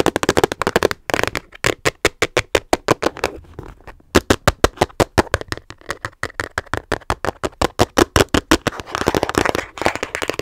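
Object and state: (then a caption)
Plastic storage case tapped with nails. Fingernails tap rapidly on the sides of a small, hollow, hard teal plastic storage case held in both hands. Dozens of sharp, dry, hollow clicks follow each other in quick bursts, with a brief pause near the start and another near the middle. Each click dies almost instantly, with a bright edge over a mid-pitched body.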